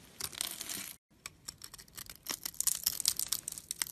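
A tall, solid, yellow-beige bar of translucent yellow soap is held in the hand while a metal blade cuts a grid into it and scrapes crumbly cubes off the top edge. A bright, dry rasping scrape runs for about a second, breaks off into a brief silence, and then gives way to a quick run of short, crisp crackling cuts and flaking crumbles.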